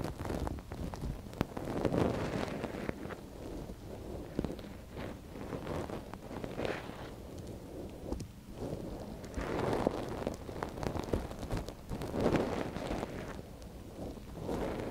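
A thin wooden stick scratches inside the canal of a soft silicone ear on a binaural microphone, held by a gloved hand. The close, muffled scraping and rustling sit mostly in the low and middle range, with many tiny clicks and soft swells in level and almost no high hiss.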